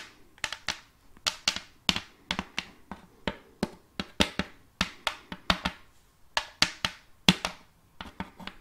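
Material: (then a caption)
Wood. Long fake nails tap and scratch the flat face of a round, glossy wooden serving tray with a rim, held upright and empty. About 25 sharp, bright taps land in an irregular rhythm, each dying away almost at once with a faint low knock beneath, and soft scratching fills the gaps.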